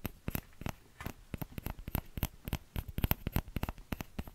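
A small orange plastic ladle, a hollow scoop with a thin handle, is held in one hand close to the microphone while the fingertips and nails of the other hand tap and scratch the scoop. About two dozen quick, dry taps and clicks come in an uneven stream, each with a soft low thump and a bright tick, dying away almost at once. Faint scratching fills the gaps.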